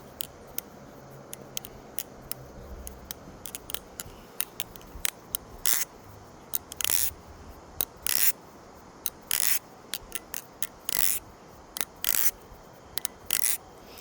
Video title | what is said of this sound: This is the most beautiful repicant I've ever flipped! (Arizona can knife????) | sounds very unique it sounds Hollow almost